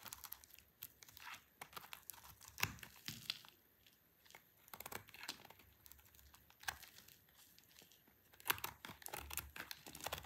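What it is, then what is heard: Dry soap bar scraped with a blade. A utility knife blade scrapes a solid, rounded, dry orange soap bar held in a hand with long purple nails. Quiet, crisp, crumbly scraping and tearing sounds come in short bursts with bright, high-heavy texture. Louder strokes stand out between softer shavings.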